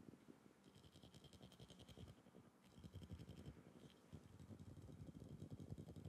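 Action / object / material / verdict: tap / glass bottle / glass / none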